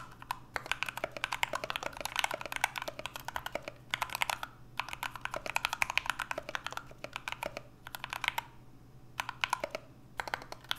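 Two hands type continuously with their fingertips on an NK65 65% mechanical keyboard with an aluminum case, Everglide Aqua King switches and PBT Notion keycaps. Rapid, bright, clacky keystrokes come in dense bursts separated by brief pauses, each stroke short and dry with almost no ring. A faint, steady low hum sits underneath throughout.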